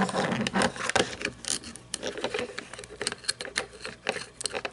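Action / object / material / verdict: tap / plastic toy monster truck / plastic / none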